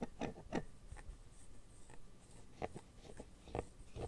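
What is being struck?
Empty silicone phone case.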